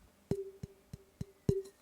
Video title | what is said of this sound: The best way to pitch-match your sticks | This is lower in pitch.